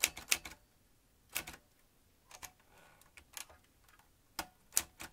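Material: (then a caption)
Metal. Fingertips of both hands type on a vintage manual metal typewriter with round metal-rimmed keys and metal typebars. About eleven sharp, bright clacks come in an uneven, unhurried rhythm, each dying away almost instantly. Near-silent pauses separate them, with a faint mechanical rustle in one gap.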